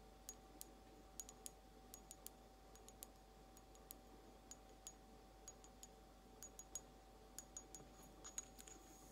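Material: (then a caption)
Glazed ceramic. Long almond-shaped nails tap slowly on a small, empty, hollow blue glazed ceramic egg cup. Each tap is a short, bright, high click that dies away almost at once, repeating at an unhurried, uneven pace over a quiet background with a faint steady tone.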